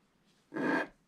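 A wooden stick scrapes larger areas of the black coating off the stocking design on a flat scratch-art paper sheet. After a faint rustle, one short, dry, broadband scrape lasts about a third of a second, strongest in the low-mids with a bright, hissy top. It then fades quickly into near silence.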